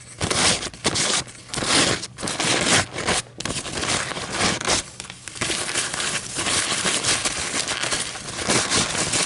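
A single thin white paper coffee filter is held in both hands above a table and crumpled and crinkled with fingers and long nails, then squeezed in one fist. Bright, crackly paper crinkling comes in dense bursts separated by brief pauses, turning into a steadier rustle toward the end.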